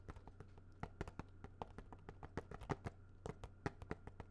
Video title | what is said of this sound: Whats in the Vault? Movies R Us (ASMR, Tapping, Soft Spoken) | this is definitely a much harder plastic sounding